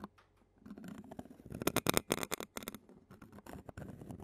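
A clear plastic spoon scratches and taps the black metal mesh microphone grille of a handheld Zoom recorder, held in a long-nailed hand. A quiet start gives way to close, crackly scraping and sharp, bright taps, loudest in the middle and then easing into softer, rumbly scratching.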